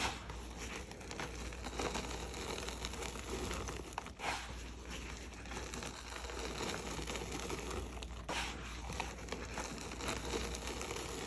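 Loose pinkish-red gym chalk powder is pressed into a compact mound with gloved hands, then crumbled and rubbed apart over a plate. The result is a continuous stream of dry crunching, crinkling and crackling with soft gritty texture and a steady low rumble underneath.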